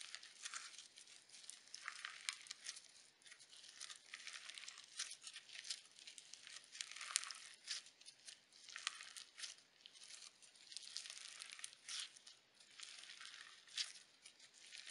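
Pale pink crunchy slime with sequins and glitter is held in both hands, pressed and pulled apart with thumbs and fingertips. It makes a steady stream of dense, bright crinkling crunches that swell and fade in waves, with almost no low end.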